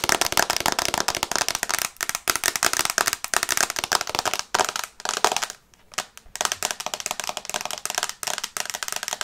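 Long nails tap fast on the glass screen of an iPad held in the hands in a teal plastic case, making a dense run of sharp, bright clicks with almost no ring. The tapping comes in quick bursts, with brief pauses near the middle before it picks up again.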